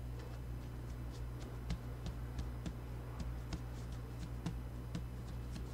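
Bare hands with short nails rub, brush and tap a single flat, thin sheet of white printer paper, about A4, lying on a green cutting mat, using flat palms and fingertips. Soft papery brushing is broken by about eight short, crisp taps with bright clicky edges. Underneath runs a steady low hum.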